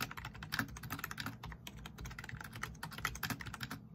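A black plastic backlit RGB membrane keyboard is typed on rapidly with the fingertips of both hands, producing a dense, steady stream of short, soft clicks and taps. The key presses blur into a continuous patter with a brief lull near the middle, and a faint bright hiss sits above the keystrokes throughout.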